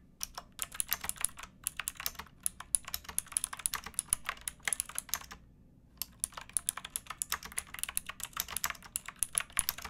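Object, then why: Plastic mechanical keyboard. Fingertips with painted nails type steadily on a pink backlit plastic mechanical keyboard with round keycaps and a hollow case, resting on a wooden box. The keystrokes are rapid, bright, short clacks with almost no ring. A brief pause falls just past the midpoint before the typing resumes.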